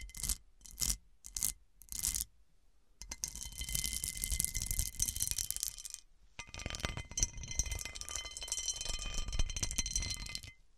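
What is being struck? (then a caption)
Cut glass serving dish. Long nails scratch and rub across the facets of an overturned, hollow, round cut-crystal glass serving dish. Four short, bright scratching bursts come first, then after a pause two long stretches of continuous gritty rubbing with faint high ringing tones.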